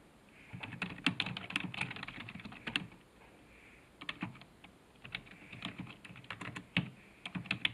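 Fingertips type on a black plastic computer keyboard resting on a desk, producing rapid, dry clacking keystrokes with bright, sharp clicks over a soft low thump. The typing comes in bursts, with a brief pause near the middle, and each keystroke dies away almost instantly.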